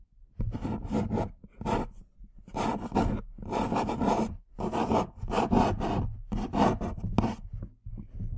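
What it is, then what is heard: Cardboard tea box. Long nails scratch and tap the front and side of a small printed cardboard tea box held upright near the mic. The result is a run of dry, rasping scratch bursts with soft tapping between them, carrying a papery mid-range body and a faint bright hiss.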